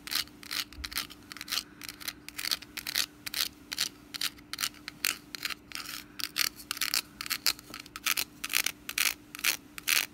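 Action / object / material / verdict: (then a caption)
scrape / woven wicker basket lid / wicker / none. Long nails scratch across the woven strands of a hollow, orange wicker pumpkin lid with a wooden stem, held in the hand. About 35 short, dry, bright rasping strokes come in an uneven rhythm, each stopping instantly, over a faint steady low hum.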